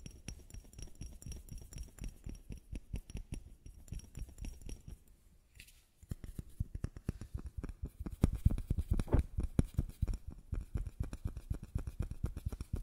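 A small white bottle is tapped with rapid, irregular taps that make soft, dull, low-pitched knocks with almost no ring. The tapping quiets briefly around the six-second mark, then resumes and grows louder and busier toward the end.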